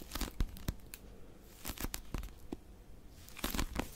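A small blue Oxford paper pocket dictionary is held in both hands while long nails grip and scratch its cover. Dry, crinkly scratching comes in bursts with sharp clicks and brief rasping sweeps that reach bright highs, separated by quiet pauses.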